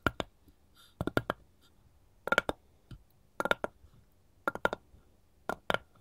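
Long gold metal claw tips on one hand tap and scratch along the grain of a solid, light wooden cutting board with rounded corners, held upright. Quick, dry clicks come in short clusters of two to four, roughly once a second. Each click has a brief bright tick near 1.4 kHz that dies away almost at once, with faint scratching between the bursts.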